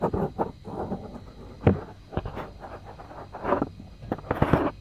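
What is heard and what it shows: Fingertips and short nails scratch and rub the soft silicone ear of a white 3Dio binaural microphone, a solid, roughly hand-sized unit. Close, muffled scraping and rustling rises and falls in uneven bursts. A few sharper, louder strokes thump through the low end.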